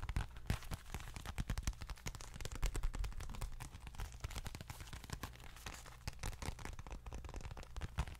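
A small dark leather bifold wallet held in both hands is tapped and scratched with long fingernails. The result is a dense, steady stream of short, dry taps with a deep, muffled thump underneath and faint bright scratching on top, continuing for about eight seconds.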